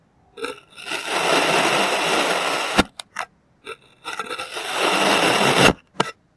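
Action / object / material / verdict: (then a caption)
scrape / kinetic sand block cut with a plastic knife / kinetic sand / none. A clear plastic serrated knife slices thin layers from a molded, solid green kinetic sand shape. Two long, gritty, bright scraping strokes are heard, each ending in a sharp crunch, with short soft ticks and scrapes before and between them.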